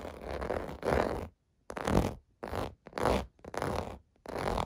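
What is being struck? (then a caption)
Plastic bubble bath mat. Fingertips scratch across the raised bubble domes of a clear blue plastic bath mat lying on carpet. The result is a series of rough, rasping scratching bursts separated by short pauses, with a dull low rumble under a mostly mid-range texture and little high sparkle.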